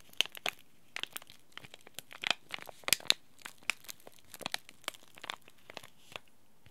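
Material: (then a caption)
Plastic foil. A small, flat, bright green laminated plastic-foil Oi Ocha green tea bag packet, sealed with a tea bag inside, is crinkled, bent and scratched by fingertips and short nails. About twenty sharp, bright crinkles and crackles come in quick, uneven bursts, each dying away almost instantly with very little low end.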